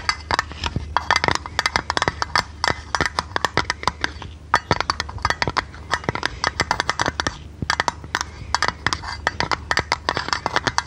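Long red nails tap and scratch a small oval metal tin lid with a silver rim and a blue painted top. The result is a rapid, uneven stream of sharp, bright metallic clicks and clinks that die away almost instantly, with a faint scratchy hiss between them. A steady low hum runs underneath.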